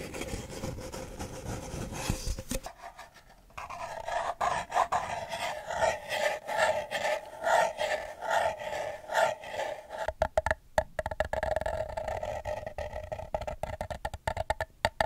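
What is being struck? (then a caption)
Empty paper cup. Fingernails scratch the printed outer wall of a single empty, hollow paper cup held upside down. The result is a dry, rasping scrape with a hollow resonance around 660 Hz, broken by a brief pause near the three-second mark. It then continues as rhythmic strokes and ends in sharper, quicker scratches.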